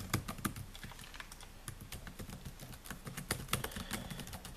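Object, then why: Laptop keyboard, plastic keys. Fingertips type rapidly on the black plastic keys of a solid silver laptop, producing a dense run of short, crisp clicks and taps. Each keystroke has a quick, dry snap with a low thud underneath and a bright click on top, and a few strokes land louder than the rest.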